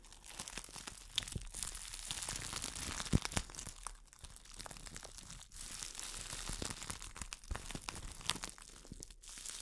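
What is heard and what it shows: An empty clear plastic wrap bag is crumpled and rubbed between the fingers while long nails crinkle it. The result is a dense, continuous crinkling and rustling with bright, hissy texture and frequent sharp crackles, dipping briefly quieter around the four- and five-and-a-half-second marks before picking back up.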